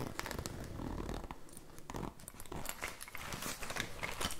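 A small, soft, hollow olive-green fabric pouch with a metal zipper, its contents unseen, is held against the microphone and scratched and rubbed with fingertips and nails. A continuous close crinkly scratching plays out, with heavy low rumbling handling noise and bright, crisp ticks and scrapes scattered throughout.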